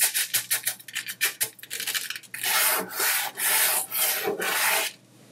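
A fingertip draws lines through a dry, loose layer of mixed colored sanding sugar crystals spread on a white tabletop, making a quick series of short, bright, gritty scratches. A flat palm then presses and rubs over the granules in four longer, broad hissing sweeps before the sound falls quiet.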